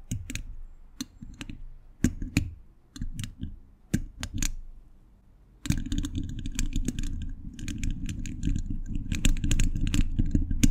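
Quick tapping with metal thimbles on the fingertips against a hollow steel mesh microphone grille. Scattered sharp taps, each with a bright tick and a low thud, come with quiet gaps between them for the first few seconds. At about 5.7 seconds the tapping turns into a dense, rapid, steady patter that carries to the end.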